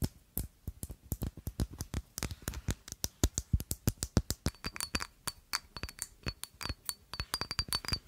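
A rectangular black glass perfume bottle with a square cap is held in one hand and tapped with long acrylic nails. The result is a rapid, uneven run of dozens of short, dry glass clinks. Each tap dies away almost instantly, and a faint high ringing tone joins in during the second half.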